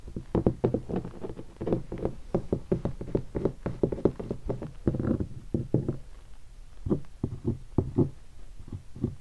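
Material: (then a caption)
Leatherette. A single finger taps on the stickers of a hollow guitar hard case covered in black leatherette. The taps sound like dull, low, hollow knocks that die away almost instantly. They come in quick, uneven bursts at first and then thin out into sparser, separate taps.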